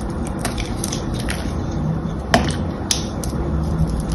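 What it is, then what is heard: Glycerin soap bar being carved. A small knife or blade scratches and carves the patterned surface of a solid, palm-sized blue glycerin soap bar held in one hand. Soft, crumbly scraping and faint crackles sit over a steady low rumble, with brief bright scratches throughout and two sharper snaps standing out partway through.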